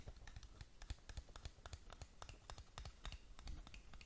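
Long nails scratch and tap along the surfaces of a long, narrow, black printed cardboard lip gloss box (Wycon Lucid Dreams), hollow and closed, held in the hands close to the mic. A quiet, irregular stream of short, dry clicks and scratchy ticks follows, each with a soft low hollow thump and a brief bright crackle that dies away almost instantly.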